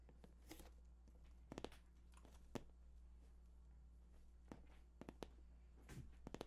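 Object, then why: Glossy cardboard box. Short fingertips tap the top of a hollow, glossy cardboard PS4 box in an uneven rhythm. The taps are sharp and brief with a bright crackle, clustered in quick little bursts, over a steady low hum. They die away almost instantly.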